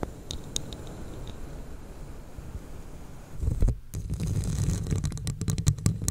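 Long nails scratch and tap the sides of a hollow, red, scale-textured plastic cup. A low, muffled rumbling scrape fills the first few seconds, followed by a louder swell and then a quick run of sharp, bright clicking taps.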